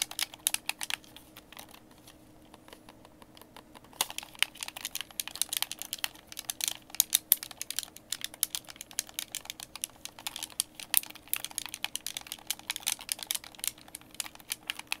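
Fingertips rapidly tap and click the buttons and D-pad of a white plastic Xbox game controller, hand-sized and hollow, held in both hands. Short, bright, dry clicks patter quickly, thinning briefly in the first few seconds before resuming in a dense, steady stream.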